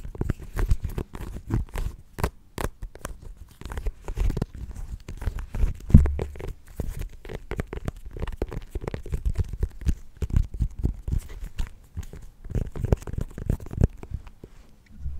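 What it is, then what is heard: Small pumpkin. Her fingernails rapidly tap and scratch the rind of a small, solid orange mini pumpkin with a stem, held close to the mic. The taps are dull, short and low-pitched, with a scratchy, crinkling texture between them and one louder knock near the middle.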